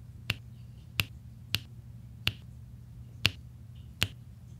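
A pink plastic drill pen taps small solid resin drills into a flat adhesive diamond painting canvas, while a white plastic roller tip presses and scrapes across the drills. Six sharp, bright clicks ring out at uneven intervals, each dying away almost instantly. A steady low hum sits underneath throughout.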